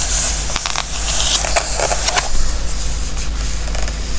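Fingertips slide and rub over the coated pages of an open glossy-paper recipe book between page turns. Soft, bright rustling and swishing strokes rise and fall over a steady low hum.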